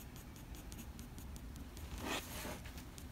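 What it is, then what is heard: Pencil on drawing paper. A black wooden graphite pencil makes short, light strokes on a sheet of drawing paper, sketching the fur on an animal's forehead. The quick, bright scratches sit over a steady low hum, with a louder, broader scratch near the two-second mark.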